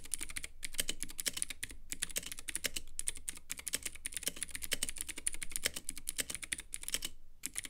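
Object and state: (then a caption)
Plastic mechanical keyboard in acrylic case. Fingertips of both hands type steadily on a compact Womier K66 mechanical keyboard with Gateron Blue switches, white plastic keycaps and a clear acrylic case. The result is a fast, dense stream of sharp, bright clicks with a low thocky undertone, broken by a few brief pauses. Each keystroke dies out almost at once.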